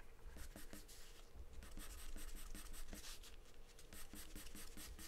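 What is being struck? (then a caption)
Graphite pencil on a paper drawing sheet. A graphite or charcoal pencil held in the hand scribbles and scratches across a large white paper sheet taped flat to a dark surface, shading with quick back-and-forth strokes. The result is a soft, steady, papery scratching with bright hiss on each stroke over a low background rumble.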